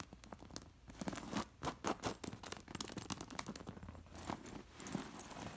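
Long blue nails scratch and brush across a soft cushion covered in embroidered fabric with many loose, sewn-on metal disc sequins. The discs jingle and click in quick, bright bursts over a soft fabric scrape, each tick fading almost at once.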